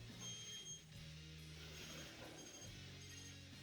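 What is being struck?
Nothing is struck.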